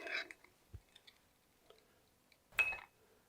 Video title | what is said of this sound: Woodturning 101 - Video 4 - Sharpening Your Woodturning Tools | give that just a little flick with your finger and you hear a little ring if it's a thud you have a cracked wheel